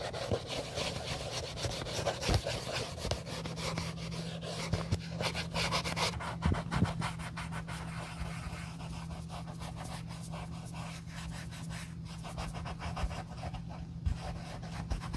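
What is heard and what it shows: A wool dauber rubs over the perforated leather heel counter of an empty, old brown leather Josef Seibel sandal being refurbished. Quick, soft brushing and scratching strokes repeat over a steady low hum.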